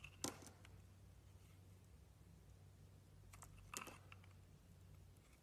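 A utility-knife blade carves curls from the surface of an oval solid Avon soap bar, painted gold with a blue interior and held in both hands. Two crisp, bright scraping cuts stand out, with fainter ticks and scrapes between them over a steady low hum. The clip is quiet overall.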